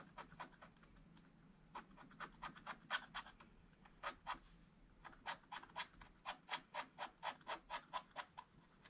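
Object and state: Scratch-art paper being scratched.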